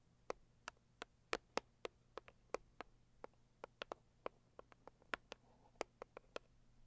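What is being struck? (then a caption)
Rigid cardboard box. Long purple acrylic nails tap and scratch the lid of a hollow, medium-size, pink floral Saviland rigid cardboard box. Twenty-two quick, dry, papery taps are heard at an irregular pace, each dying away almost instantly over a faint low hum.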